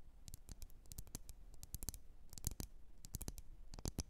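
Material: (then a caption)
Glass. Long nails tap and scratch on a lit, wax-filled red glass candle jar. A quick, irregular series of soft, short taps gives bright clicks over a low, dull thump, with faint scratching between them. Each tap dies away almost at once, and the level stays quiet throughout.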